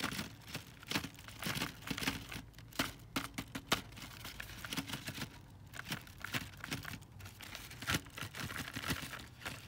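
A long, thin cardboard box with plastic windows, full of foil-wrapped chocolate Santas, is tapped and scratched with a long dark fingernail and fingers. Quick, dry taps and crinkly scratches come in an uneven stream, bright and papery, with a low thump under some taps and almost no ring after each one.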